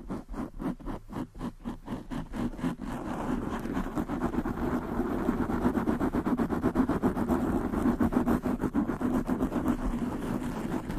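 Long nails of both hands rapidly scratch the sides and top of a black foam windscreen on a large desktop microphone. Distinct, quick scraping strokes in the first few seconds speed up into a dense, louder, continuous rasping rustle. The sound is mostly muffled and low-mid heavy, with little high end.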